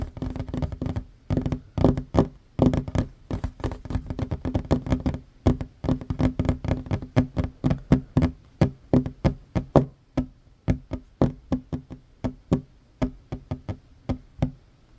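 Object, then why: Wooden tabletop. Short fingernails and fingertips of both hands tap fast on a large, solid, worn wooden tabletop. The result is a dense run of dull, low knocks with bright clicky edges, and each tap dies away almost at once. The tapping comes in quick overlapping bursts at first, then spreads into more evenly spaced single taps.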